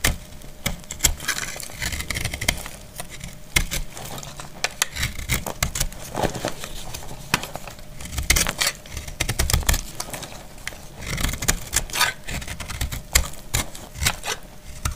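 A solid, dry, pink speckled soap bar held in the hand is cut with a metal utility blade, sending off crumbling shavings. Repeated crisp scraping and crunching strokes come with bright, sharp clicks over a low rumble, and each cut stops short with almost no ring.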